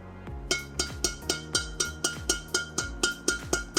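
A badminton racket, the Atomic X38 Control strung with white 66 Ultimax at 30 lbs, has its tight strings tapped repeatedly to show the tension. Fourteen quick, evenly spaced taps give loud, crisp, crunchy pings with a bright ring near 1.4 kHz that dies away fast.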